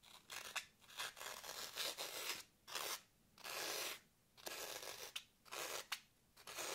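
A long nail scratches and carves letters into the top face of a solid green floral foam block held in hand. Bright, dry, crunchy scraping comes in a series of strokes separated by brief silent gaps, with almost no low end.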